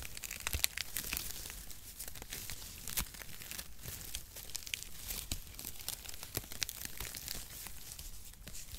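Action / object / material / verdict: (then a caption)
scrape / shredded cardboard packaging strips / cardboard / none. Two handfuls of perforated brown cardboard packaging strips are pulled and crinkled with the fingertips on both sides of the microphone. The result is a steady, dense rustle of dry crinkling and tearing, with bright, sharp crackles popping out throughout and a soft low rumble underneath.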